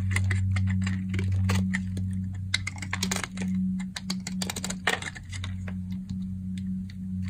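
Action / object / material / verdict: scrape / soap bar cut with a blade / soap / none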